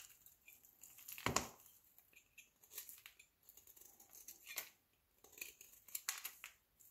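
A utility knife blade shaves flakes off a small, solid, pale green soap bar held in the hand. Quiet, bright, crisp scraping and crackling strokes come in short bursts, with the loudest, fullest scrape early on and lighter crunchy shavings following.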